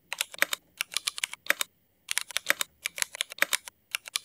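Both hands type with their fingertips on a mechanical keyboard fitted with black Cherry MX ABS plastic keycaps. Quick bursts of short, bright plastic clacks come in clusters separated by brief silent pauses. Each keystroke dies away almost instantly, with no low-end thump beneath it.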